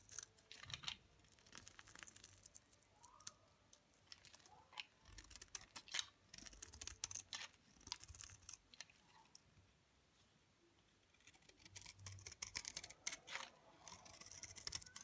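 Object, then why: Bar soap shaved with a knife blade. A utility knife blade shaves flakes off a solid, dry olive green bar soap held in the palm. The result is a run of quick, crisp scraping and crackling clicks with bright, high hiss, each dying away almost at once. A quieter pause near the tenth second comes before the shaving picks up again.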